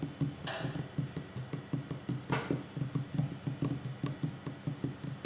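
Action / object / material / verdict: tap / wooden table / wood / none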